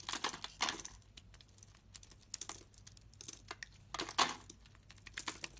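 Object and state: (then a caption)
Soap bar being shaved. A solid green soap bar held in the palm is scraped with a blade that curls off thick shavings. Crisp, dry, crackling scrapes come in short bright bursts, with the loudest strokes near the start and around the four-second mark, separated by faint ticks and rustles.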